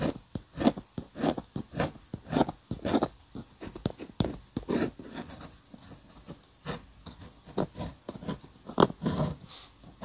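A steel-nib dip pen scratches many short strokes across a flat paper sheet bearing an ink architectural sketch. Each stroke is a brief, dry, bright rasp with quick pauses between, set against a quiet background.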